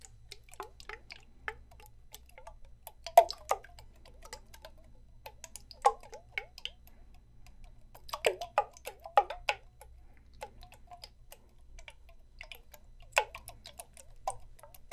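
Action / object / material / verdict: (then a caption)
tap / small glass jar with screw lid / glass / none. A small clear glass jar with a purple screw lid, held in one hand close by, is tapped and ticked by fingertips or nails; its contents are not visible. Quick, light clicks come in irregular bursts, with a few sharper, ringing taps standing out and a faint low hum underneath.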